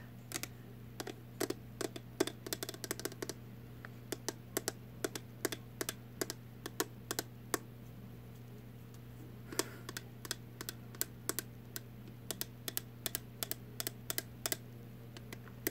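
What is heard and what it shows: A small, hollow, round purple plastic container lid or cap, held in one hand, is tapped with long nails in quick, irregular bursts. Each tap is a sharp, dry, bright click that dies away almost at once, with a short pause midway. A steady low hum runs underneath throughout.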